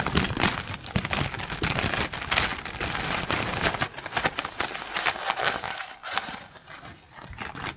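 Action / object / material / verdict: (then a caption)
scrape / bundle of plastic drinking straws / plastic / none. Long pink acrylic nails tap and scratch along a close-up bundle of colorful, empty, hollow plastic bendy straws. The sound is a dense run of quick, bright plastic clicks and crinkly scraping that barely lets up, with dry, short-lived taps that fade slightly toward the end.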